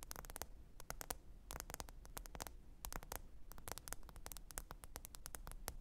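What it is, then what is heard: Smartphone glass screen tapped with nails. Long pointed nails tap the glass screen of a small, thin, solid black smartphone lying flat and screen-up on faux fur. The result is a quiet, rapid, irregular stream of sharp, bright clicks that stop instantly, over a soft, steady low rumble and faint hiss.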